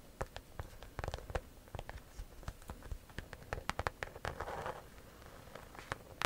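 Long nails scratch and tap the front and sides of a pale-yellow croc-embossed leather handbag held up close. The result is a quick, irregular run of dry, sharp clicks and taps over soft scratching, each hit dying away instantly, with a brief louder patch of rough scraping partway through.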